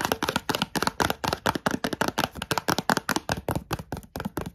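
A small, closed and apparently full Kellogg's Coco Pops cereal bar box made of thin printed cardboard is held in the hand and tapped with long nails. About 25 quick, dry, papery clicks come in a steady rapid run, each dying away almost instantly, with a hollow midrange knock and bright crisp edges.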